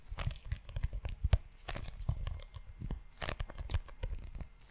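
Fingertips and short nails scratch and tap the cover of a tan, book-sized leather notebook held in one hand close to the microphone. It makes a dense run of soft, low thumps mixed with dry, crinkly scratching and brief tearing-like rasps. Each tap dies away almost at once.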